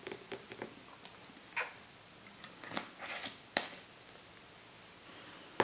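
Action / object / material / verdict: tap / empty glass soda bottle / glass / none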